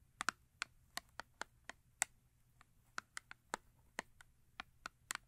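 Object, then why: Paperboard soap box. Long acrylic nails tap and scratch the face of a small, upright paperboard soap box. About sixteen quick, dry, bright clicks come at an uneven pace over a quiet background, with no ring after each one.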